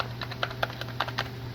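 A worn-out metal motorcycle engine compensator spring-plate assembly, removed from the engine, is shaken up close. It gives a series of light, short metallic rattles over a steady low hum, showing it is loose and shot.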